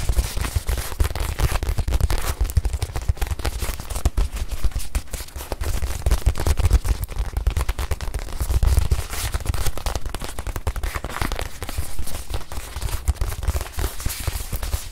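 Long white nails tap rapidly and continuously on a small white padded faux-leather watch pillow. The taps form a dense, crackling patter of short, dull thumps, heavy in the low end with only faint brightness, and they keep a fairly steady level throughout.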